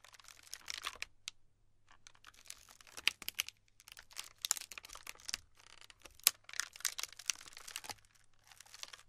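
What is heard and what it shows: Flat palms and fingertips with long pink nails press into and rub across a large, round, solid slab of tiny pastel polystyrene foam beads glued together, resting in a black tray. Dense bursts of bright crinkling and crackling come with short pauses between them, almost all high and with no low end, and each crackle dies away instantly.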